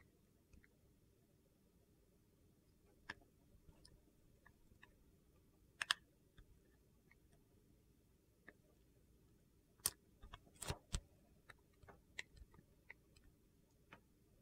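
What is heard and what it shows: A utility knife blade shaves thin slices from the surface of a solid, translucent purple and white glycerin soap bar held in the hand. Scattered short, sharp clicks and crisp crackles with bright edges stand out against a quiet, steady low hiss, with a denser cluster of cuts near the end. Each cut dies away almost instantly.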